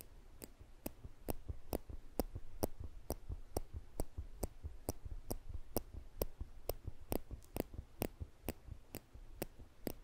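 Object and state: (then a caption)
Metal tweezers clicking. Small, slender steel tweezers are held in the fingertips above a microphone, and their solid metal tips are clicked together repeatedly. The result is a steady series of sharp, bright clicks, a little over two per second, each dying away almost instantly over a low, rumbling background.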